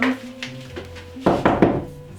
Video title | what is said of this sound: Classic Brick Rambler Part 1 | Should I knock on it? Sounds pretty hollow.